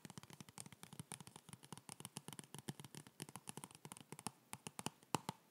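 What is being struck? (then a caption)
Cardboard box. Fingertips tap and scratch a hollow, white printed cardboard box from a yoga block, held close to the mic. Around 43 quick, dry taps and scratchy strokes follow one another with almost no ring. Each carries a soft low thump under bright papery clicks, and a sharper tap stands out near the end.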